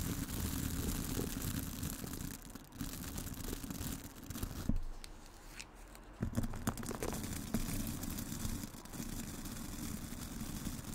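Long nails scratch and tap the wooden body and black bristles of a light wooden hairbrush held close to the mic. The result is a dense, low-heavy rustling scrape with quick, bright ticks. There is a quieter stretch around the middle before the scratching picks back up.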